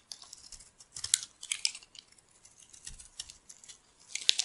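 A metal utility-knife blade scrapes and shaves flakes off the surface of a solid purple bar of dry soap held in the palm. The sound is a series of crisp, dry, bright scraping and crackling bursts with almost no low end and no ringing. It builds into denser, louder shaving strokes near the middle and end.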